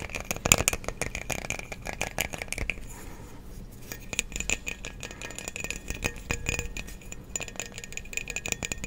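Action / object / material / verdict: tap / frosted glass light bulb with metal base / glass / none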